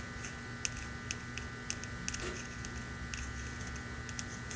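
Long nails tap and scratch the side of a red ceramic mug lettered "Merry Christmas," hollow and apparently empty, held in the hand. Several sharp, bright clicks stand out with very short decay, over a soft scratching rustle. A faint steady hum runs underneath.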